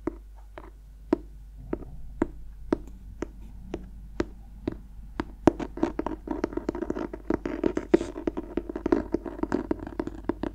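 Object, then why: Clothbound hardcover book cover. A black clothbound Dorian Gray hardcover, held closed in both hands, has fingertips and nails scratching across its embossed cloth front cover. Sharp, dry scratches and ticks start out spaced apart, then quicken into a dense, continuous flurry over a low, steady hum.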